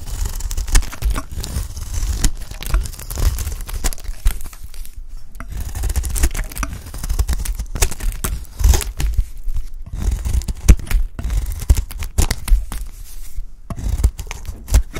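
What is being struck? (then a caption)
Bar of soap cut with a knife blade. A peach-pink solid bar of dry soap, held in the hand, is shaved with a utility knife blade, curling off flakes. Dense, dry scraping and crisp tearing strokes follow one after another over a heavy low rumble, with brief bright edges on each cut.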